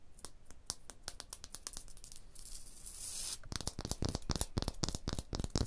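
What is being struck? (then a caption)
Rough stone block wall. Long blue-painted nails tap and scratch across a large solid wall of rough, pitted, tool-striated stone or concrete blocks. Quick, irregular clicking taps give way to a steady, bright, hissing scrape. Louder, denser tapping with a low thud beneath each strike follows.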